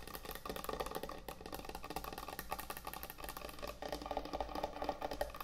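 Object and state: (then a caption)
Wooden end-grain cutting board. Long acrylic nails and fingertips tap fast on a large, thick, solid wooden end-grain butcher block cutting board resting on a counter. The result is a quiet, steady stream of short, dry, woody clicks and knocks with almost no ring, with a hollow midrange tone and some brighter nail ticks.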